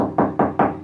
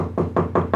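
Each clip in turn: First: Three loud knocks on bare sheet steel, each booming with a drumming ring that fades over a tenth of a second. Second: Quick knuckle knocks on a steel van roof give short, dull thuds: the deadening layer has killed the ring.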